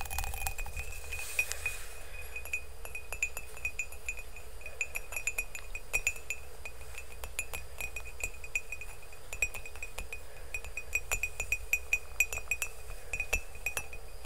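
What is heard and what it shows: Fingernails tap and click quickly on the glazed side of an empty ceramic mug held close to the microphone. Dense, irregular clinks carry a short, bright ring near 2.5 kHz that fades almost at once, over a steady low rumble.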